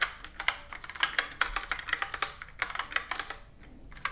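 Fingertips and long nails type and tap on a full-size plastic computer keyboard with round plastic keys, resting on a wooden table. A quick, uneven run of sharp, bright clicks with very little low end, each dying away almost at once. The clicks briefly thin out near the end before a final few taps.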